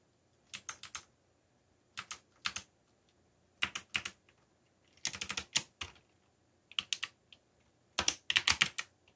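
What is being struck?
Plastic mechanical keyboard.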